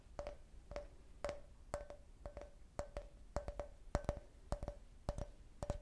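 An empty, hollow clear glass cup shaped like a beer can, with a printed logo, is tapped and scratched on its side with long nails. Quick, sharp clicks come in loose, uneven bursts, each leaving a brief glassy ring around the mid range that dies away almost at once. Faint scratching sounds run between the taps.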